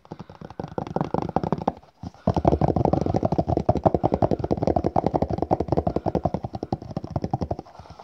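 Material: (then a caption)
Cardboard. A small, hollow, red rigid cardboard gift box with a printed crest is held in the hand and rapidly tapped and scratched by fingertips and nails on its face and edges. It gives a fast stream of dry, hollow taps with scratchy texture, pausing briefly around the two-second mark before continuing steadily and fading at the end.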